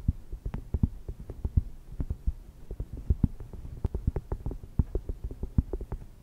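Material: Cork.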